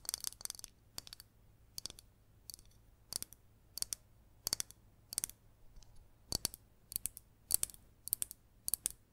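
A hollow green glazed ceramic cactus-shaped pot with raised dots, held in both hands, is tapped and scratched with long green nails. The result is quick, crisp, bright clicks in clustered bursts with short scratchy strokes, each dying away almost instantly over a quiet low hum.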